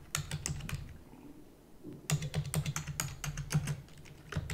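Rapid typing with fingertips and long natural nails on a full-size black plastic computer keyboard with plastic keys and a hollow housing. Quick, dry clicks with a low, hollow thump and bright key snaps come in two bursts with a brief lull between them, each tap dying away almost instantly.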